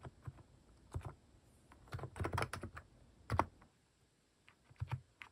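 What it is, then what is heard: Mechanical keyboard with plastic keycaps. Fingertips type on a compact mechanical keyboard fitted with cat-shaped plastic keycaps. The result is a loose run of short, dry clicks with a low thock under each press, bunched into quick bursts around the middle and scattered taps at either end.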